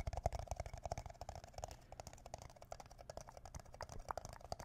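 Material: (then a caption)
Plastic. An empty red plastic party cup, hollow and thin-walled, is held upside down above the microphone with both hands and tapped with the fingertips and nails. Quick, irregular taps produce soft, dull, hollow knocks with a boomy low thump and a short mid-range tone in the cup. Each tap dies away almost at once.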